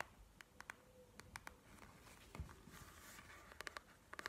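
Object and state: Plastic gel-bead eye mask.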